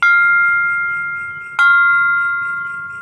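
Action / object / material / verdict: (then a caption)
strike / keprak metal plate / metal / ringing. A keprak metal plate, held at a chosen point before its holes are drilled, is struck twice, each hit giving a bright, clear ring near 1.4 kHz that sustains and slowly fades. It rings loud and clear at this spot, marking it as the right place for the hole.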